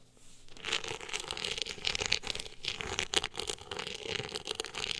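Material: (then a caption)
Cloth-covered board. Long acrylic nails scratch across the ribbed, woven-texture cover of a hardcover book. After a brief quiet start, a dense, bright rasping of quick scratching strokes fills the clip, with a sharp crinkly texture and almost no low end.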